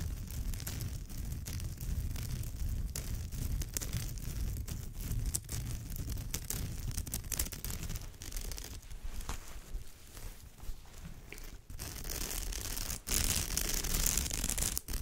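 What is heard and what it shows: Long nails scratch over the woven fibre of a straw or raffia purse, making a steady, dense, irregular scratching rustle with a strong low rumble underneath. Near the end the scratching turns brighter and slightly louder, with a few brief pauses between strokes.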